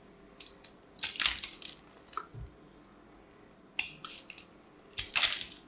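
A knife blade scrapes and cuts into a solid, fist-sized ball of pressed pink soap shreds held in one hand, crumbling pieces away. Bright, dry crunching and crackling bursts come in short clusters, with two louder stretches of crumbling between quieter ticks. Each burst stops almost instantly, with no ring.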